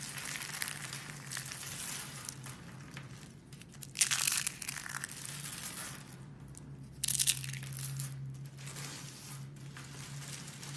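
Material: Soap.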